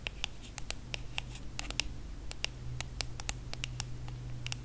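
Long nails tap and scratch the brushed aluminum back and edge of a small, solid hand-held iPhone. About twenty quick, dry clicks with a bright metallic tick land over a low steady hum, each dying away almost at once. The taps come at an uneven pace for nearly five seconds.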